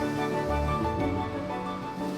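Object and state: Nothing is struck.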